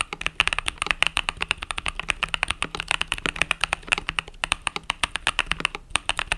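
A compact mechanical keyboard with cream and purple plastic keycaps, resting on a desk mat, is typed on rapidly with fingertips and long nails. It gives a dense stream of dozens of short, bright, clacky taps that die away almost instantly, with a tone centred around 2.8 kHz and little low end.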